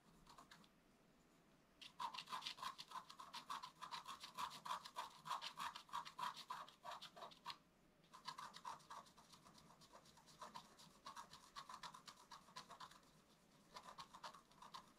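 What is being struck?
Black-coated scratch art paper and wooden stylus.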